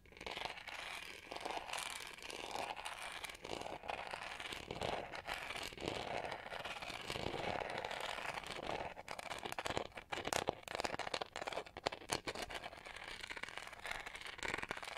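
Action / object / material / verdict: scrape / plastic hair brush back / plastic / none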